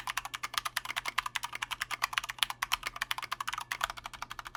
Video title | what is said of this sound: Corsair K65 RGB Mini Review: Too Little; Too Late | so the board has a pretty decent tone but it's also got ping for days it sounds hollow and it's really loud and that's because there's no sound dampening material inside this case at all